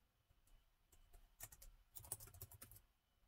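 Fingertips from both hands tap the black plastic chiclet keys of a gold metal-look laptop with a hollow body. The result is a quick, irregular run of soft, short clicks with a bright edge and a faint low thump under each press. The typing stays quiet throughout and clusters into a denser burst in the middle.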